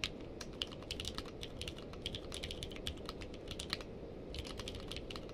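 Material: Plastic.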